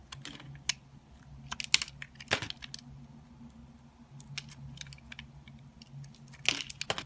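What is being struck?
Bar of soap scraped with a metal blade.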